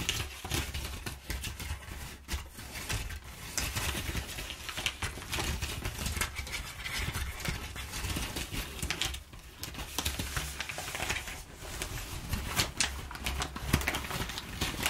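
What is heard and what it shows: Long nails rapidly tap and scratch crumpled kraft packing paper. The result is a dense, continuous crinkling patter of bright, dry clicks and scrapes over a low rumble. It runs steadily throughout with no pauses.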